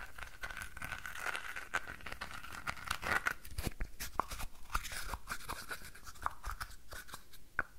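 A small, hollow, red and orange painted wooden box is held in both hands while fingernails scratch and tap across it. Quick dry clicks and scratchy rasps come in a fast, uneven stream, each tap ending almost at once with no ring, over a faint steady tone in the background.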